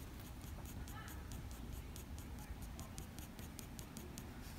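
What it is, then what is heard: Pencil strokes on drawing paper. A black wooden graphite pencil makes quick, short strokes on a sheet of drawing paper, sketching an animal's forehead fur. Each stroke gives a soft, bright scratch over a quiet, steady low rumble.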